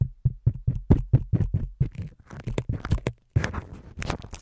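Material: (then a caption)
Foam. Fingertips of both hands rub and squeeze the white foam windscreen covers on a microphone's capsules. The result is a quick, uneven series of soft, muffled low thumps with a crackly, scratchy rustle. The rustling thickens into denser bursts toward the end, with a brief pause just past the three-second mark.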